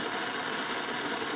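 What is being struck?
Nothing is struck.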